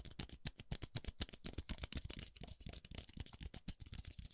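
A single small, hollow, empty white disposable paper cup, held in one hand, is tapped and brushed on its base and rim by the fingertips of the other hand as it moves from side to side close to the microphone. About four taps a second come in an uneven rhythm, each a soft, deep, hollow thump with a bright papery brush on top. Each tap dies away almost instantly.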